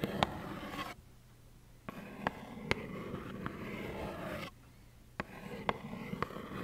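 Long nails tap and scratch a small, hollow plaid cardboard tissue box filled with tissues. Continuous rough, papery scraping is broken by two brief quiet pauses and punctuated by nine sharp, short taps with a bright edge.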